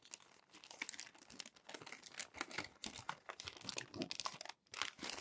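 A crumpled glossy paper magazine is handled as hands turn and smooth its wrinkled pages. Bright, dense crinkling and crackling runs through the clip in quick bursts, with almost no low end. There is a brief near-silent gap just before the final flurry.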